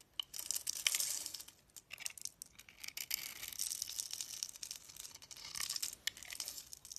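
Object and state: Soap bar being carved.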